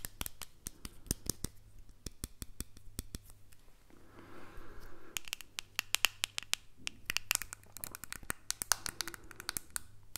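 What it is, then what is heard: Plastic earbud case. A small, hollow white plastic earbud case, held in one hand, is tapped and scratched with the fingernails of the other hand. Rapid, sharp, bright clicking taps come in quick bursts, broken by softer scraping and scratching passages, over a faint steady low hum.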